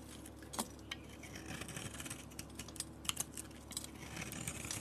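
A utility blade scrapes thin shavings off a solid, palm-sized peach soap bar with a black glitter coating. Crisp, bright scraping and scratchy clicks come in quick bursts over a steady low hum, with a few sharper peaks standing out.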